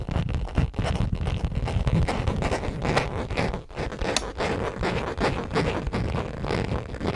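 Long acrylic nails tap and scratch across the surface of a small, hollow tan/orange leather (possibly faux) crossbody bag held close in front of the mic. The result is a steady, dense stream of soft scratching and muffled tapping, heavy in the low end, with brief dips between strokes.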